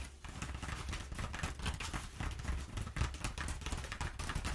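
Long nails quickly tap and scratch a perforated sheet of crumpled kraft packing paper. The result is a dense, continuous run of dry crackles and scratchy rustles over a steady low rumble, with brief bright bursts where the nails strike.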